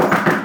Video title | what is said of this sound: The LVA Podcast: Episode 13 "#AskLouis 4" | can you hear that I'm knocking on wood